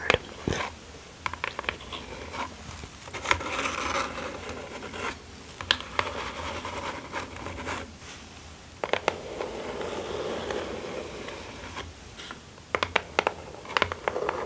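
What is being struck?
Small kraft cardboard mailer box.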